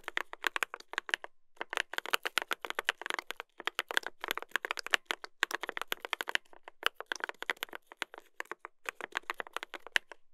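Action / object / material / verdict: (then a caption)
tap / mechanical keyboard with brass plate and plastic keycaps / plastic / none. Two hands type continuously with their fingertips on a mechanical keyboard with a brass plate and plastic keycaps. The result is dense runs of sharp, bright clacks and clicks, centered around 1.8 kHz with almost no low end and no ring, broken by a few brief pauses.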